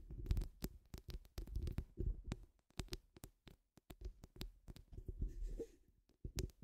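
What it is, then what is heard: Metal mesh microphone grille being scratched and tapped. Long nude acrylic nails scratch and tap across the woven steel mesh grille of a large hollow round microphone head, using both hands. The result is a rapid, uneven run of deep, boomy thuds and muffled scratching, with brief sharp clicks riding on top and short silent gaps between bursts.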